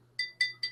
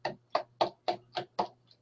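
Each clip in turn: First: glass liquor bottle, clear clink. Second: plastic liquor bottle, dull thud.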